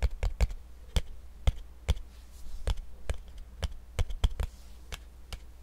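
A small, cream-yellowish cardboard box, seemingly empty and hollow, is held in one hand close to the microphone and tapped and scratched with fingertips and nails. Quick, dull, low thumps land at an irregular pace, each dying away almost instantly, with soft scratching in between.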